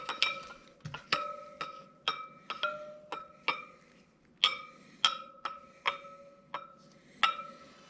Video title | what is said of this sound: 2023 Harley Davidson Pan America 5000 Mile Service Part 2: Checking and Setting Drive Chain Tension | you can hear how they all have a sound to them